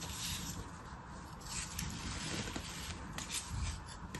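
A metal craft knife slices and scrapes through beige kinetic sand packed solid into a green flower-shaped plastic cutter held in the hand. A steady, gritty rasping and rubbing carries bright, hissy crackle over a soft low rumble, with small swells as the blade drags through the sand.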